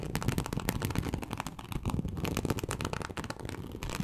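Long acrylic nail tips scratch across the scales of a large, flat teal snakeskin-embossed leather sheet. The result is a dense run of quick, dry, crackling scrapes with a low, full body and only faint brightness on top.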